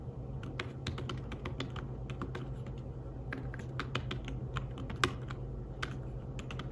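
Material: Fabric.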